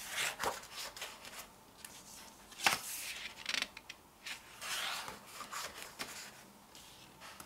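An open glossy paper photobook has its pages flipped while flat fingertips and long nails rub and sweep across the printed paper. Quiet, bright, papery swishes and scratchy strokes come in short bursts, with almost no low end and a sharper page flick near the middle.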